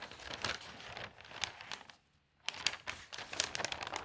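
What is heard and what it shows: Fingertips with long nails open a large folded newsprint newspaper, "de zondag", lying on a table and turn its thin pages. Dense, bright crinkling rustles and sharp crackles fill the clip, with a brief near-silent pause at about two seconds before the rustling resumes.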